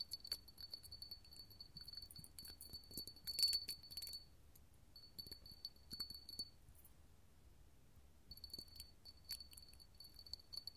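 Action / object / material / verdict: tap / small glass candle holder tapped with metal claws / glass / none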